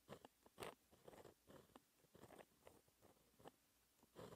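A white gel pen held in the fingertips writes math equations on a flat sheet of black lined textured paper. It makes quiet, dry scratching strokes in short bursts separated by brief pauses, with a soft, bright grainy edge.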